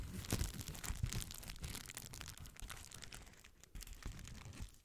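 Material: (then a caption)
Plastic. A small rectangular sheet of clear plastic bubble wrap is held in both hands while fingers and nails pinch and crinkle the air-filled bubbles along its top edge. The result is dense, irregular crackling and crunching with bright, crisp texture over a low rumble, gradually getting softer toward the end.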